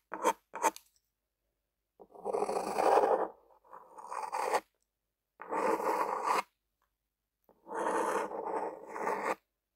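A lime-green plastic ballpoint pen with a metal tip, held in one hand, is scraped and rubbed over a flat white paper sheet. Two quick, short scratches are followed by four longer bursts of steady, raspy scratching, separated by silent pauses. The sound is dry and mid-pitched, with a faint bright edge.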